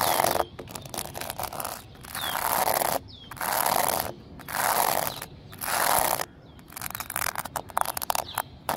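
Fingertips and nails tap and scratch the rough surface of flat, solid exposed-aggregate pavement made of small pebbles set in concrete, with a flower lying nearby. Broad bursts of gritty, hissy scratching swell and fade in long strokes between quick clusters of short, sharp taps and clicks. A few faint bird chirps sound in the background.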